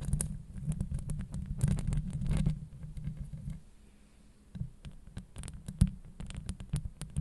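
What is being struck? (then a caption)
Steel mesh microphone grille. Long acrylic nails scratch over the top of a hollow steel mesh microphone grille. The result is a dense, low, booming rumble full of rapid scratchy crackles and sharp clicks. It eases into a quieter stretch in the middle before the scratching and clicks pick up again.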